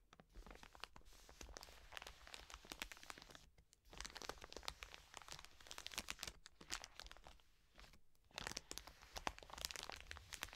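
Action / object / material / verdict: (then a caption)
scrape / soft plastic wet wipes packet / plastic / none. Long nails scratch and tap the crinkly plastic of a full, soft plastic wet wipes pack resting on a table. The result is a quiet, bright stream of rapid crackling ticks and scratchy rustles, broken by short lulls at about 3.7 and 8 seconds.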